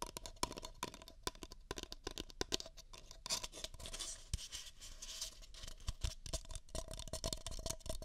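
Two identical empty beige paper cups, hollow, are held over the ears of a binaural microphone and tapped and scratched with long fingernails. Quick, dry, hollow taps are heard over a bright, papery scratching, with a denser, hissy scrape through the middle. The taps stop short with almost no ring.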